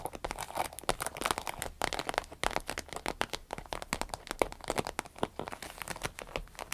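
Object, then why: Small vinyl zippered pouch. Long red nails scratch along the side and top of a small, hollow, striped vinyl zippered pouch. A dense run of dry, crinkly scratches and short, bright clicks follows in quick succession, each stopping at once with no ring.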